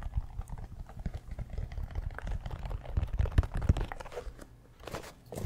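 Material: Mesh, rubber.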